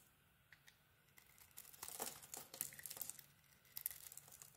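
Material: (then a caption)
Soap. A small metal knife blade carves and shaves a palm-sized bar of soap with a green glitter coating and a white interior, held in one hand, peeling off curls. Soft, crisp, bright scraping and crinkling grows louder and denser toward the middle, with brief sharp ticks as the shavings come away.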